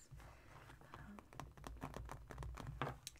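Painted fingernails tap and scratch the surface of a small silver glitter-coated fabric cosmetic zipper pouch lying on a wooden table. Quick, dry taps and scratchy rustles with a crinkly texture repeat in a rapid, uneven pattern. A quiet, low hum sits underneath throughout.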